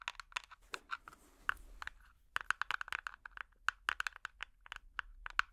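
A small, clear, hollow plastic tub with an orange screw lid, apparently empty, is tapped with metal finger picks worn on the nails. About 29 quick, dry, clicky taps with a plastic tone around 1.5 kHz and bright edges come in uneven bursts, with a brief scratchy stretch early on. Each tap dies away almost instantly.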